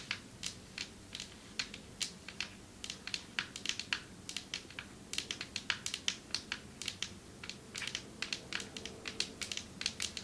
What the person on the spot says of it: Long nails tapping on marble table